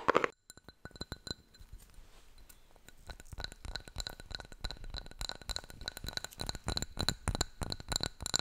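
A small striped glazed ceramic pot holding a live aloe plant, solid-walled and filled with soil, is held in both hands and tapped with long nails and fingertips. After a brief loud clink at the start and a quiet pause, a run of fast, dry, clicky taps follows, with a bright glassy ring over a duller knock.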